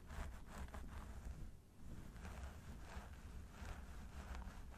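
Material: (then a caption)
Synthetic hair. Fingertips of both hands claw and scratch through the long blonde synthetic hair on the sides of a mannequin training head, making a steady, dense rustling scratch over a heavy low rumble. The sound dips briefly in the middle before the scratching picks back up and continues to the end.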